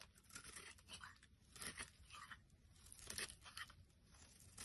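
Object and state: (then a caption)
Soap bar being carved. A solid rectangular white soap bar held in the hand is scraped with a small black blade, with flakes falling onto a wooden surface. Quiet, bright, crisp shaving and crunching strokes come in uneven bursts, each with a dry scratchy texture and almost no ring.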